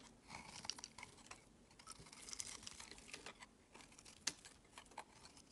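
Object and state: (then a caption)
Soap bar being shaved. A solid, palm-sized, lavender-colored rectangular bar of soap is held in the fingers and shaved along its edge with a metal utility blade. Quiet, bright, crisp scraping and crunching cuts come in a steady run of short strokes, with a few sharper clicks standing out. There is little low-end weight.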